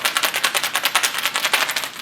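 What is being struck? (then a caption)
Hollow plastic egg holding small loose items. A plastic Easter egg with small hidden items inside is shaken so listeners can guess its contents. It makes a fast, steady rattle of sharp, bright clicks over about two seconds, with little low end.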